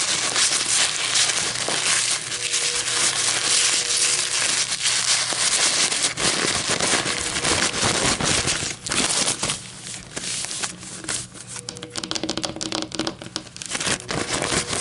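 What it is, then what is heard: Paper coffee filter being crinkled and scratched. A white paper coffee filter is crumpled, then laid flat while long metallic nails crinkle and scratch across it. The result is a dense, continuous, bright crackling and rustling, mostly high-pitched, that grows softer and more broken up in the second half.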